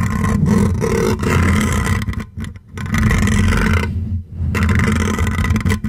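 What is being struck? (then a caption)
Metal wire-mesh microphone grille. Fingertips and short nails scratch and rub across the hollow metal wire-mesh grille of a silver condenser microphone, with a hand wrapped around the top. The result is a dense, muffled, rumbling scratch that is heavy in the low end, with a faint bright crackle above it. It runs nearly continuously, dropping out briefly twice when the rubbing pauses.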